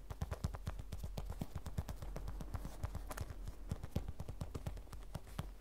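Long fingernails tap rapidly on a small, glossy printed vinyl or coated-fabric cosmetic pouch that rests on a table, its hollow, soft body giving a steady run of dull, low, hollow thumps. Each tap dies away almost instantly, with only a faint bright click on top over a quiet, low background hum.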